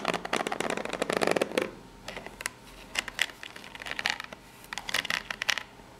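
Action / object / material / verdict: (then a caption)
scrape / small corrugated cardboard box / cardboard / none. Long fingernails scratch across the ridges of a small corrugated cardboard box, which is turned once partway through. The result is a series of dry, rapid, bright scratching bursts with quick ticking texture, strongest at the start and separated by short quiet gaps, with almost no low end.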